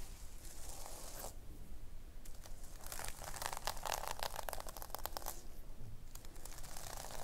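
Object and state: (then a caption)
Sequin-covered notebook cover. Long nails quickly scratch and rake the sequins on a pink sequin-covered fabric notebook cover, making bright, crinkly, tearing rasps. The raking comes in three bursts, with the longest and densest in the middle and quieter pauses between them.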